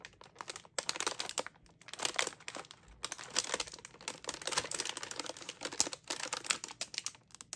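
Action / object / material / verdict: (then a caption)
scrape / metallized plastic film snack bag / plastic film / none. A sealed, full Oreo Space Dunk cookie bag of glossy metallized plastic film is held in both hands and crinkled and squeezed with fingertips and long nails. Bright, crackling crinkles come in dense bursts with brief pauses between them, with almost no low end.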